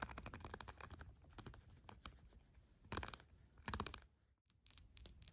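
A red pen, held in a hand with long black nails, scratches and rubs across the raised plastic bumps on the bat wings and body of a flat children's sensory board book with cardboard pages. It makes a quick run of dry, clicky ticks and scrapes that come in bursts, goes almost silent for a moment, then ends in a few sharp, bright clicks.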